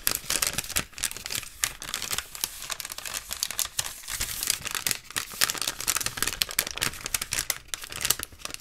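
Fingertips and short nails scratch and tap along the surface of a long, hollow, beige cardboard or paper tube lying in front of the camera. The result is a dense run of dry, bright, crinkly scratches and quick taps with very little low end and no ringing.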